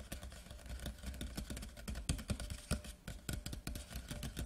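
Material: Cardboard.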